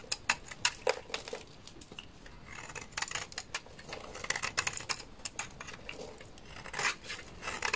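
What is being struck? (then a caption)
Bar of laundry soap scraped with a knife blade. A solid white bar of laundry soap, held in the hand, is scraped with a utility knife blade into powdery flakes. Bright, crisp scraping clicks and short rasping strokes come in quick, uneven bursts with little low end and almost no ring.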